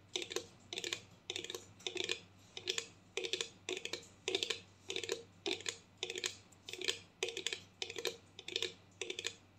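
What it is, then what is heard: Plastic mouthwash bottle. A clear plastic mouthwash bottle filled with blue liquid is held and tapped with long nails. Quick bursts of light, clicky taps repeat steadily, each one short and bright with a hollow plastic knock around 500 Hz. A faint low hum runs underneath.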